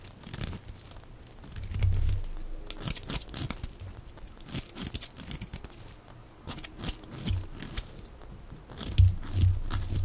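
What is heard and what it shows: A small black-handled knife shaves and carves thin curls off a hand-sized, dry bar of green soap held in one hand, and the shavings crumble onto a pile. The blade gives a steady run of crisp, crinkly scraping and tearing sounds with short crunches, growing louder near the start and again toward the end.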